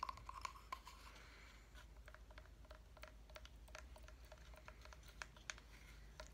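Fingernails tap and scratch a medium-sized, solid wooden reindeer block calendar with a metal wire antler, a pine sprig decoration and number blocks reading 01, held in one hand while the other hand plays on it. The result is quiet, irregular dry clicks and light scratching with almost no ring, over a steady low hum.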